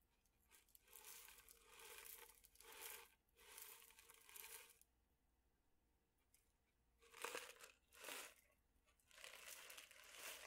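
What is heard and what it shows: A small cylindrical metal tin with a clear window lid, full of small dried food pieces, is tilted and shaken in the hands. It gives bursts of bright, crinkly rattling and shuffling, with quiet pauses between them. The swells rise and fade at an uneven pace.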